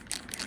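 A JustArt acrylic paint marker is shaken, and the mixing bead inside, there to remix the paint when it separates, rattles in two bright, clicky bursts. The sound is thin and high-pitched with a short ring.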